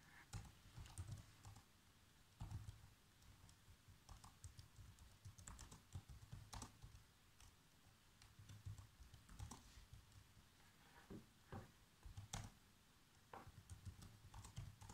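Bare fingertips with short nails type continuously on a black plastic laptop keyboard, tapping the keys. Quiet, irregular clicks and taps come in quick runs with brief pauses. A steady low hum sits underneath throughout.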